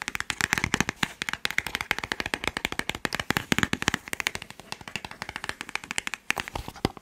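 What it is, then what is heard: Cardboard medicine box being tapped. A small, hollow white and teal cardboard medicine box is held up and rapidly tapped with fingertips and nails on its face and edges. A fast, continuous run of short, dry, bright clicks and taps follows, each stopping almost instantly with no ring.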